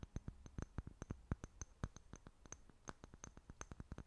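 A small, clear, apparently empty glass jar held in both hands is tapped and scratched with long fingernails. About 25 quick, irregularly spaced clicks are heard, each with a soft low thump and a faint bright glassy tick, dying away almost instantly.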